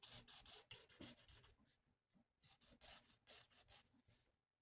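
A felt-tip marker held by hand rubs back and forth across a thin, flat paper mandala coloring sheet lying on a table. It makes quick, irregular, soft, bright, scratchy strokes with short pauses between bursts, quiet overall and fading at the end.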